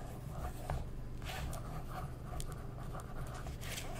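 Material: Glossy paper.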